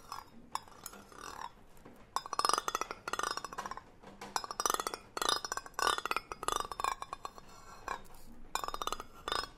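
A green cylindrical hollow metal tin with a gold metal lid is held close to the mic. Its lid is tapped and scratched with the handle end of a brush-like tool, and long nails scrape along its side. Bursts of bright, rapid metallic clicking and ringing scratches, centered around 1.2 kHz, alternate with quieter rustling.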